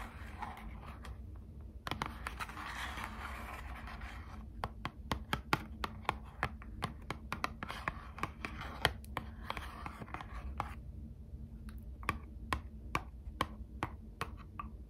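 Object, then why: Small printed cardboard box. A small, hollow, closed Squishmallows trading card box of thin printed cardboard is held in both hands and tapped with long acrylic nails. It opens with soft scratching and brushing across the surface, then shifts to a run of sharp, dry, clicky taps with a bright edge. A steady low hum sits underneath throughout.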